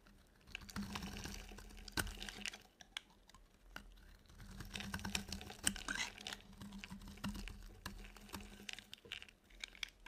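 A utility knife blade scrapes flakes from a solid, dry, white rectangular soap bar, making crisp, crackly scraping bursts with sharp ticks and a bright, papery texture. A faint steady low hum runs underneath between the strokes.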